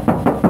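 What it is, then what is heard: Undamped car door panel, resonant. Three knocks on an undamped steel car door panel of a Mazda, each giving a hollow, resonant thud centered around 230 Hz that rings briefly before the next. The panel is noticeably resonant because it has no damping material yet.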